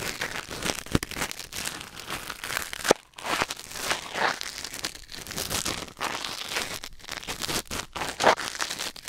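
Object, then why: Silicone ear on a binaural microphone, wooden ear pick. A thin wooden or bamboo ear pick held in the fingers scratches and scrapes inside the canal of a white silicone ear mounted on a black binaural microphone. The result is a close, continuous crackling and crinkling texture of dense, short, dry scrapes. The sound is bright, with little low end and a few sharper pops along the way.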